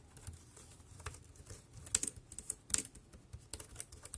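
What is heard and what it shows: Fingertips type on the keys of a dark grey, compact, plastic wireless keyboard. Soft, bright, dry key clicks come at an uneven pace over a faint low hum, with two sharper, louder clacks standing out midway.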